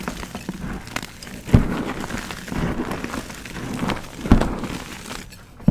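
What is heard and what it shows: Pressed white gym chalk rings of magnesium carbonate, solid and crumbly, are squeezed and crumbled between bare fingertips and palms over a bed of loose chalk powder. A steady, dull, low crunching and gritty crumbling runs throughout, broken by three louder, sharper cracks as pieces give way.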